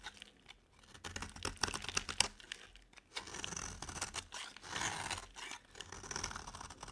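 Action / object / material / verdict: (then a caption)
scrape / bar of soap cut with a metal blade / soap / none. A metal utility blade carves shavings off a solid, dry yellow bar of soap held in the hand. The cuts make dry, crisp, bright scraping and crackling bursts with short pauses between strokes.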